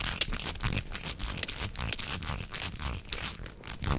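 A beige, hollow, flexible corrugated plastic tube is bent into a loop and flexed close to the microphone while hands squeeze and rub its ridges. The result is a dense, steady stream of crinkly, crunchy clicks and scrapes with bright hiss on top and a soft low rumble underneath.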